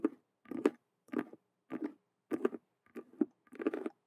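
Long nails scratch and tap quickly across a hollow faux leather Rubik's cube handbag made of stitched colored vinyl squares. Seven short, dry bursts of fast scratching and tapping come in a loose rhythm, each with a low-mid body and faint bright edges, and every burst stops almost at once with no ring.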